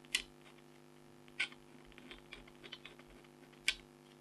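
A red-handled stylus scratches fine lines into the lower middle of a flat, thin, black-coated scratch art foil card with a tiger design, held by a hand with long blue nails. Three sharp, bright scratches stand out, with fainter, softer scrapes between them over a quiet steady hum.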